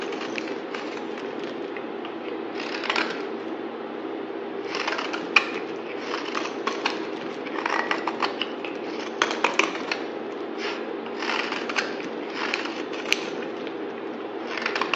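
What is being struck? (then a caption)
Bar of soap cut with a blade. A utility knife blade shaves and scrapes a solid yellow bar of soap held in the hand. Repeated bursts of dry, crackly scraping with bright, crisp edges rise over a steady low-mid hum, with a few sharper cracks standing out.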